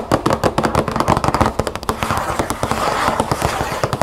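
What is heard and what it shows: Long acrylic nails rapidly tap and scratch the front panel of a large printed cardboard cereal box, closed and presumably full, lying flat on a wooden table. A quick run of sharp, dry clicks sits over a papery scratching texture. Each tap is hollow and dies away almost at once.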